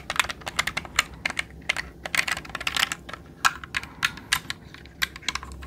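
A jade roller is rolled across the plastic keycaps of a black mechanical computer keyboard held upright, pressing the keys as it goes. It produces a quick, irregular run of sharp, bright clicks with almost no ring and very little low end, like fast uneven typing.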